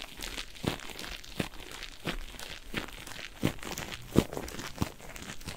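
A single yellow cellulose kitchen sponge with a green scouring layer, soft and porous, is squeezed and scratched with fingertips and nails. Close, quiet crinkling and scratchy rustling runs throughout, with about seven sharper squelching squeezes at roughly regular intervals, each a brief, low, damp crunch over a bright textured hiss.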